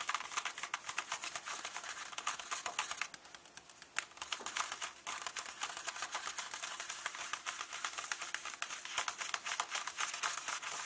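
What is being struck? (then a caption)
Paper pages of an open hardcover book. Fingertips and nails tap and rub the paper text pages of an open hardcover book. Quick, crisp, dry taps and scratchy rubbing follow in a dense, uneven patter with a bright papery edge, easing briefly to softer rubbing around the middle before the rapid tapping resumes.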